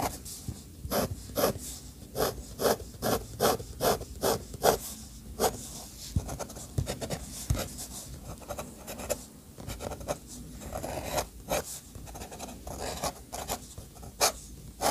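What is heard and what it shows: A fountain pen's metal nib scratches lines and hatching across a white paper sheet bearing an architectural sketch. Short, bright scraping strokes come in quick, uneven bursts over a soft, low background hiss. A brief pause breaks the middle before the strokes resume.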